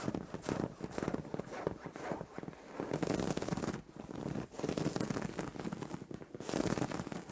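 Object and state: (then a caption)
Fabric bed cover being scratched. Fingers with long nails scratch and rub the surface of a soft white fabric duvet cover on a bed. The sound is a dense, crackling, scraping rustle, mostly in the low-mid range, coming in bursts separated by brief pauses.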